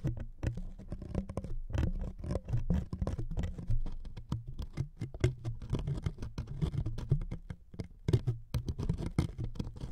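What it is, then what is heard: Thin wood veneer strip being scratched. Fingernails scratch the surface of a thin wood veneer sheet resting on two microphones. The result is a dense, close, rapid scratching patter, heavy in low tones with a steady low hum, and each stroke dies away almost instantly.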